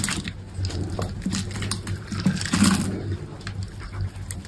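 A utility knife blade cuts and scrapes small cubes off a solid green soap bar held in the hand. Soft, crisp scraping and crunching scratches come in bright bursts over a steady low hum. The strokes swell slightly louder toward the middle before settling back down.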